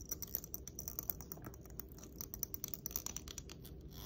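Long nails run along and flick the teeth of a long, solid black plastic comb held in one hand. The result is a quiet, rapid patter of dry, bright ticks and scratchy strums with very short decay, over a soft low rumble.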